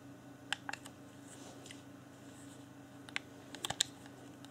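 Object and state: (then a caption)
Plastic game controller buttons and shell taps. Fingertips press and click the buttons and tap the shell of a hand-sized, hollow, transparent plastic Xbox One Afterglow controller, held in both hands with its pink LED lit. About seven short, bright plastic clicks come in two loose clusters, each dying away almost instantly over a faint, steady low hum.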